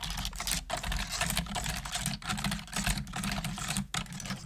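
Fast, continuous typing with both hands and long nails on a full-size black plastic computer keyboard with hollow plastic keys. The result is a steady stream of hollow, clicky plastic taps with bright clatter and a low thud under each stroke, pausing briefly only a few times.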